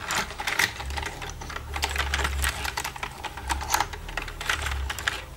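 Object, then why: Plastic computer keyboard keys. Long red nails tap and type on the keys of a black plastic computer keyboard. The result is a rapid, uneven stream of sharp, bright plastic clicks over a steady low hum that swells and fades.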